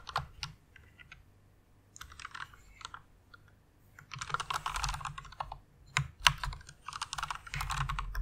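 Fingertips with long nails type on the keys of a white plastic rainbow mechanical keyboard. Quick, irregular bursts of sharp, bright clacks with a soft low thud beneath them alternate with brief pauses. The keystrokes grow denser and louder toward the end.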